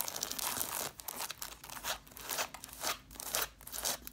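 Long black nails scratch the paper page edges and cloth covers of a stack of red cloth-bound hardcover books. The result is dry, crunchy, bright rasping strokes that come in uneven bursts, roughly two per second, with almost no low end and short, quiet gaps between them.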